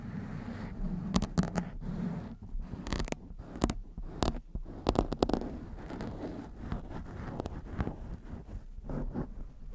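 Long white-tipped nails on both hands scratch the sides and top of a blue foam windscreen on a black microphone. The result is a dense, low, muffled rustling with sharp crackling clicks scattered throughout.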